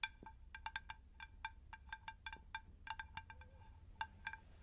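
Long pink nails tap the underside of a shallow, round, unglazed terracotta plant saucer in an irregular series of quick taps. Each tap is a short, bright click carrying a brief tone near 900 Hz with higher overtones, over a faint low rumble.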